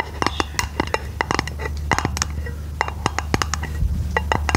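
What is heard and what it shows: Long painted fingernails tap rapidly on a flat, round, hollow silver aluminum lid held over the microphone. Each tap is a short, bright metallic click with almost no ring, and the taps come in an uneven series over a steady low hum.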